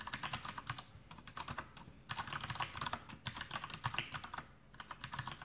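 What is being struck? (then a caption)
Plastic mechanical keyboard. Fingertips of both hands type continuously on a full-size black plastic MasterKeys Pro M mechanical keyboard with Cherry MX Brown switches and blue backlit keycaps, resting on a desk. Rapid, bright, clacky keystrokes come in flurries with brief lulls, each click short and crisp with a soft low thump beneath.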